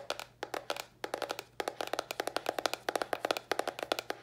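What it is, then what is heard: Cardboard box tapped with fingernails. Long nails tap rapidly on a small, hollow white cardboard box with a red top, producing about thirty dry, clicky knocks with a hollow mid-range body around 680 Hz and a bright edge. The taps come in quick clusters separated by brief pauses, each dying away almost instantly.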